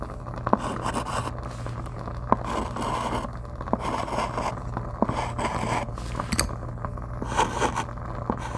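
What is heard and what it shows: A white chalk stick held in the fingers writes and scrapes across a flat, dark chalkboard with a gold frame, while a lavalier mic rests on the board under the other hand. Scratchy, gritty strokes come in bursts, punctuated by sharp little taps as the chalk meets the board. A steady low hum runs underneath.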